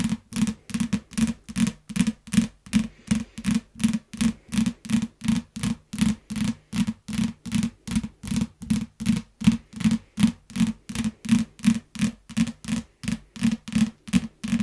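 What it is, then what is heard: Plastic-wrapped paperback book. A yellow paperback book in plastic wrap, lying flat, is tapped with the long nails of both hands in a steady, quick rhythm of about two to three taps per second. Each tap is a short, crisp click with a hollow low-mid thump around 230 Hz and a bright plastic crackle. The taps stop dead with no ring between them.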